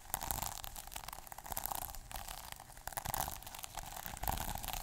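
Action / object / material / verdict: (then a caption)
scrape / plastic sequin notebook cover / plastic / none. A fingertip and short nail scratch the plastic sequin surface of a small sequin notebook cover, making a dense run of quick, crisp scratching clicks. The sound is bright and rattly with a steady band around the mids, shifting in intensity as the sequins are brushed back and forth.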